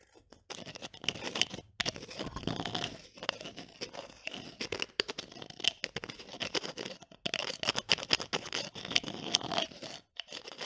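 Long nails tap, scratch and twist the green plastic cap of a small clear glass bottle, turning it on and off. Dense, dry, bright clicks and gritty scraping come in close bursts with a few brief pauses, with almost no low end and no ring after each hit.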